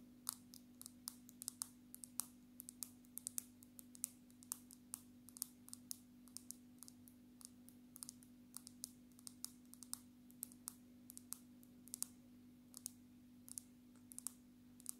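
Long natural nail tips tap on the glass screen of a black smartphone held upright in its case, making quick, sharp, bright clicks. The taps come in a steady, uneven stream of dozens of very short ticks over a low, steady hum at about 250 Hz.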